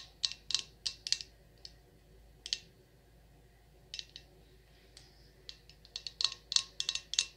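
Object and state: Glass candle jar.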